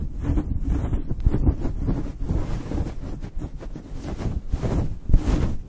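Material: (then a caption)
Synthetic fur. Fingertips and nails scratch and rub a fluffy synthetic faux fur windscreen on a microphone. The result is a continuous low, muffled rumbling rustle with uneven swells and a few louder bumps, and almost no bright content.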